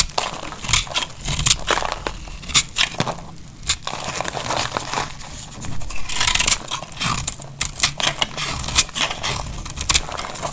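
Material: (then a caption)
Soap. A cream-colored solid bar of dry laundry soap is held in the hand and carved with a metal utility knife blade, scraping and cutting off flakes. Dry, crisp crunching and scraping strokes repeat at an irregular pace, with bright, high crackle and a faint low rumble underneath. Each cut ends abruptly with no ring.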